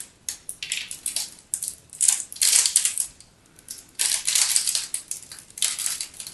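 A utility knife cuts into the scored surface of a solid teal-and-white striped soap bar held in the hands, and crisp cubes pop off. The sound is a series of bright, dry crunching and crackling bursts with almost no low end. They come in clusters separated by short quiet gaps.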